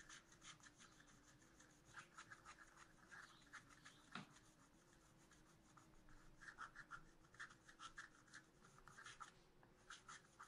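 A wooden stylus scratches lines into the pot area of a black-coated scratch art paper sheet in a spiral notebook. Quiet, dry, bright scratching comes in a steady series of short strokes over a faint low hum. One sharper stroke stands out near the middle.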